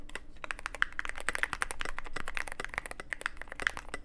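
Fingertips type steadily on a Cyberboard mechanical keyboard with plastic keycaps and a black aluminum case. About thirty quick, dry keystrokes follow one another, each a short bright clack centered around 1.8 kHz that dies away at once, over a low background hum.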